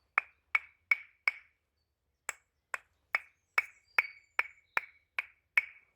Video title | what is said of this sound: 🏕️STEALTH SHELTER & Survival skills camp🗡️ | Can you hear that high pitched ring? That is a seriously good indicator, guys, that your wood is dry.